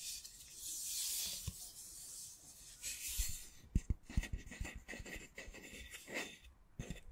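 A long, flat, solid-wood spatula, kitchen-utensil size, is held in the hands and rubbed slowly close to the microphone. A dry rasping, sanding hiss swells and fades in the first few seconds. Then come softer scratchy strokes broken by a series of short low taps and knocks.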